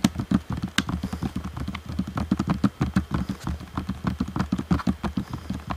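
Fingertips tap rapidly on the sides of a hollow black plastic Xbox One controller shell. The taps come quickly and a little unevenly, about three per second, each a short, dull, hollow knock centered low around 200 Hz, with faint clicky ticks on top that die away almost instantly.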